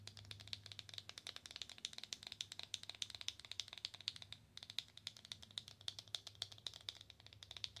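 A slim black Belle en Argent cardboard product box is tapped and scratched rapidly with long acrylic nails. The result is a quick, dense run of crisp, dry clicks with a bright, papery edge, each dying away almost instantly. A brief lull comes just before the midpoint, and a faint low hum sits underneath.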